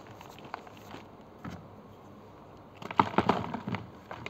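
Fingertips break pieces off solid bluish-grey gym chalk bars in a green plastic tray, then squeeze and crumble them into chalk powder. Faint, scattered crackles give way to a louder cluster of dry, crunchy snaps and crumbling in the second half. The sound then fades back to soft grainy rustling.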